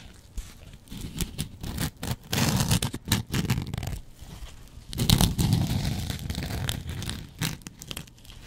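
A double-edge razor blade scratches across the face of a yellow porous foam kitchen sponge. The result is irregular bursts of dry, crackling, tearing scrapes with a dull low body and bright, hissy edges. Brief quiet gaps separate the louder stretches.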